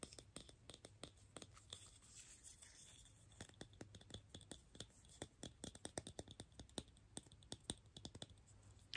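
A small, hollow, mint-green plastic toy egg, opened into two halves with a perforated black insert and empty inside, is handled and tapped with fingertips and nails. Quiet, sharp clicking taps on the plastic shell come in quick, uneven bursts, each short and bright with almost no ring, over a faint steady low hum.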